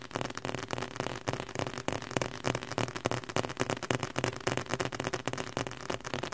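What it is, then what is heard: Leather-covered book. Fingertips tap rapidly on the cover and spine of a red leather-covered book. The result is a dense, slightly irregular run of short, dry taps with soft low thuds beneath, each dying away almost instantly.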